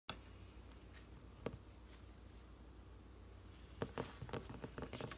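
Long painted fingernails and fingertips tap a large, thick, solid hardcover cookbook, "Mostly Plants," with a glossy paper cover, lying closed on a wooden desk, before it is lifted at the end. A single crisp tap sounds early over a faint low hum, followed by a quick cluster of short, dry clicks and taps near the close.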